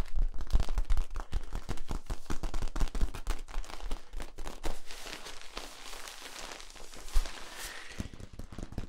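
A hollow yellow ribbed plastic tube, held horizontally between two microphones, is scratched along its ridges with fingers and then compressed toward its cap. Dense, rapid, irregular crackling clicks with a heavy low thump give way to a softer, hissing rustle, with a brief rising squeak near the end.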